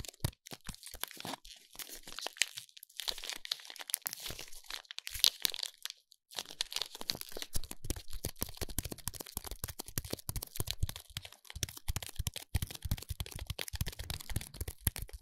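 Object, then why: Soap bar wrapped in metal foil. Fingers rub, press and crinkle the silver foil wrapping of a soap bar. The result is dense, crisp crackling and crunching with bright edges and soft low thumps from the pressing, broken by a brief near-silent pause around six seconds before the crinkling resumes steadily.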